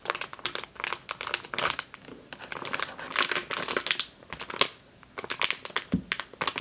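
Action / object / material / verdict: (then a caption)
scrape / plastic bag filled with flour / plastic / none. Long green-painted nails and fingertips squeeze and scratch a medium clear plastic bag with a yellow-printed label, full of flour or grain, lying on a dark table, and the bag is lifted at the end. Dense, bright crinkling and sharp crackles come in quick bursts, with a brief quiet gap near the five-second mark before the crinkling resumes.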